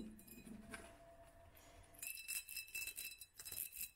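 Long pink nails tap a small, hand-held hollow glass mason jar, striking both the clear glass and the black studded sleeve wrapped around its lower half. Soft, muffled tapping over a faint low hum gives way after about two seconds to a quick, uneven run of bright, glassy clinks with a thin ringing tone that dies away quickly.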